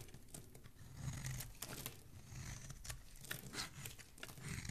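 A solid, hand-sized green Palmolive soap bar is held in one hand and shaved with a thin dark metal blade that scrapes off curls and flakes of soap. Quiet, continuous crisp scraping and crinkling is heard, with bright, dry bursts over a soft low rumble.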